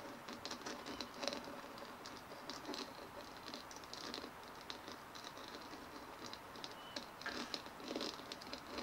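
Long nails rapidly tap and scratch the dimpled shell of a white hollow plastic ball resting on a table. The result is a quiet, steady patter of light, bright clicks and scratchy rasps with a faint hollow ring and almost no low end.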